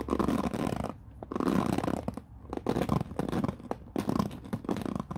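Fingertips sweep across the white-tipped bristles of a black plastic paddle hairbrush resting on a wooden floor. Dry, scratchy brushing bursts come in waves, separated by short quieter gaps with small ticking bristle flicks, and the sound is concentrated in the low-mid range with little high-end hiss.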